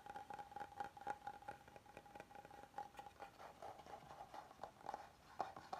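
An oval serving board of solid light wood is held up while fingertips and nails tap and scratch across its face and edges. Quiet, dry taps and soft scratching come in an uneven patter over a faint, steady tone around 780 Hz, with each tap dying away almost at once.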